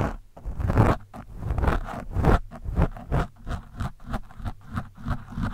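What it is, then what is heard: Foam microphone windscreen scratched. The thin steel shaft of a screwdriver scratches and pokes an orange foam windscreen on a microphone, the foam soft and porous. It makes a series of muffled, bassy scraping and crunching bursts, dense at first and then settling into a steady rhythm of shorter strokes. Each burst dies away quickly.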